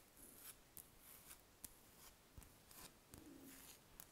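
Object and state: Wax candle scratched with nails.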